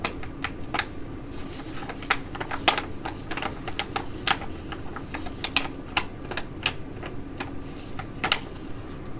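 A filled tea-tree foil sheet mask pouch from Korean skin care is scratched and tapped with long nails and crinkled in both hands. Sharp, bright crackles and ticks sound in quick irregular bursts over a steady low background noise.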